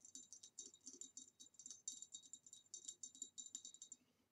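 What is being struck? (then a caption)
Ribbed glass vase. Long nails tap quickly on the sides and rim of an upright, hollow, empty green ribbed glass vase, making a rapid run of light, bright clicks about 28 taps over four seconds. Each tap is short and crisp with a glassy high ring and almost no low end, then the tapping thins out and fades at the end.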